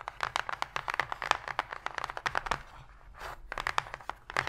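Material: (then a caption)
Cardboard. Long pink fingernails tap rapidly on the floor of an empty, open white cardboard box tray, giving a string of dry, crisp clicks with a hollow, papery tone. In the middle, the nails briefly scratch the cardboard with a soft rasp before the quick tapping resumes.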